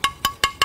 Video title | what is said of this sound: ชาววิทย์ชิดชาวบ้าน ตอน ถ่านคุณภาพดี ประโยชน์จากธรรมชาติ | ถ่านคุณภาพดีนะฮเวลาเราเคาะมันจะต้องได้เสียงอย่างนี้นะครับ